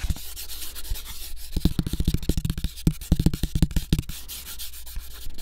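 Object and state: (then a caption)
Cardboard sheet being scratched. Fingertips of the free hand rub and scratch the surface of a thin, flat brown cardboard sheet cut into the shape of a floppy disk. Fast, dry scratching comes in quick bursts of short, muffled scrapes and taps over a low, dull body.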